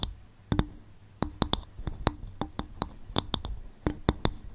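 A bowl made from coconut shell is tapped and scratched, producing a string of sharp, dry clicking taps. Each tap has a short low-mid tone and bright high overtones, decays almost at once, and sits over faint soft scratching between hits.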